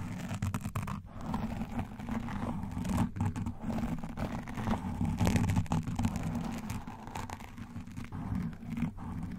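Both hands grip a soft black foam microphone windscreen, scratching around it with nail rings and fingertips while massaging the foam. The result is a continuous, muffled, low-heavy scratching and rustling with crinkly, tearing-like bursts and a few sharper scrapes throughout.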